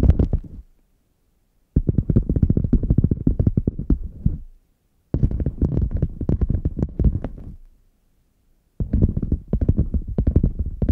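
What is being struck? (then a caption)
Padded faux leather zip case. Long nails rapidly tap and scratch the padded top strip near the handle of a red faux leather zip case, which lies flat, hollow and closed. The sound comes as four bursts of dense, dull, low thumping and soft scraping, separated by short silences.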